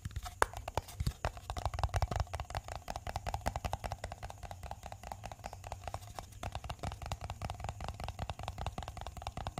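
A small, hollow pink plastic cosmetic jar with a lid is held in the hand and tapped and scratched with fingertips and short nails on its sides and lid. A steady stream of quick, dry, close-up clicks and taps with soft scratching runs throughout, carrying a low hollow thump beneath a faint mid-pitched ring.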